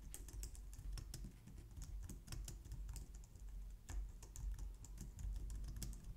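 Long painted nails type steadily on the keys of a compact white plastic computer keyboard. Quick, bright clicks patter continuously over a low, steady rumble, with each keystroke dying away almost at once.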